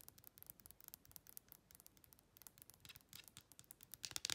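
Long red acrylic nails tap and click quickly on the raised clear edges and corners of a phone-sized clear plastic case with a printed insert, held at an angle. The quiet, bright, dry clicks come in a rapid, uneven stream with almost no low end or ring, growing a little louder and denser near the end.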